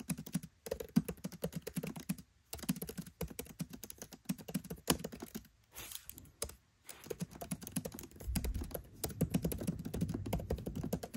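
Fingertips type on a MacBook Pro 13 keyboard with black plastic keycaps set in an aluminium body. Rapid, soft, dry key taps come in bursts separated by brief pauses. The thuds are mostly low with little high click, and each tap dies almost instantly, with the typing growing denser and steadier toward the end.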